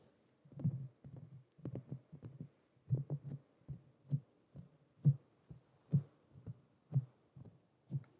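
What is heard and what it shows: Fingertips with short nails tap and scratch the hollow, domed metal mesh grille of a black Blue Yeti USB microphone. The result is a run of muffled, low thumps around 130 Hz that die out almost instantly, like a heartbeat. They come in quick clusters and then as single, evenly spaced taps.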